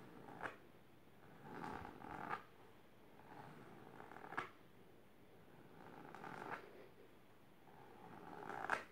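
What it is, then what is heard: Fabric-covered storage box. Long silver nails scratch, with both hands, across the fabric surface of a large pink patterned fabric-covered box or ottoman. Soft, brushy scratching swells in repeated waves, each ending in a sharper scrape, with a raspy texture centered in the midrange around 1 kHz and quiet pauses between passes.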